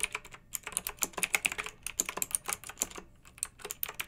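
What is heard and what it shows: Long nails and fingertips of both hands type on a pink backlit plastic mechanical keyboard with round plastic keycaps. A rapid, uneven stream of sharp, bright clicks and clacks is heard, each one short and dry with almost no ring and very little low end.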